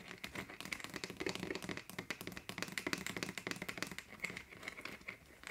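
Long nails tap rapidly on the green plastic cap and neck of a 1.5 L clear plastic bottle partly full of water. The quick, dry clicks are bright and hollow, with a faint low knock, and each one dies away almost at once in a steady, uneven stream.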